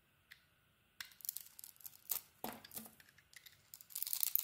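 A metal utility blade carves and shaves the printed surface off a solid, hand-sized pink Isana bar soap with a heart pattern, held in one hand. Crisp, bright cutting and scraping strokes come in irregular bursts after a near-silent start, ending in a denser stretch of rasping shavings.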